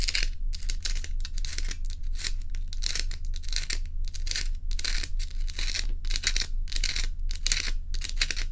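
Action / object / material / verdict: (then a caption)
scrape / ice cubes / ice / none. Long nails scratch and tap at solid ice cubes held in the hand, making a fast, uneven run of bright, crisp scraping bursts. A steady low hum continues underneath throughout.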